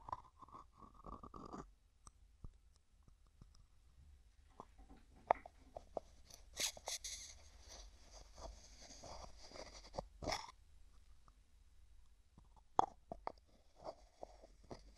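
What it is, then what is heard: Plastic tub with lid, tapped and scratched. A medium translucent pink hollow plastic tub with a white plastic lid is tapped, scratched and twisted with fingertips and nails. Quiet, close-up sound of light clicking taps, dry scratching and a few brief bright swishes of the lid turning.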